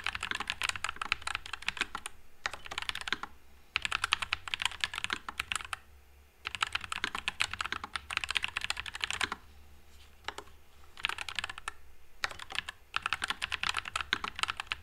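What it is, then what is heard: Mechanical keyboard with plastic keycaps. Fingertips type continuously on a white low-profile Nuphy Air96 mechanical keyboard with Wisteria switches and plastic keycaps. Rapid, bright, crisp clacks come in steady bursts separated by brief pauses, over a faint low background hum.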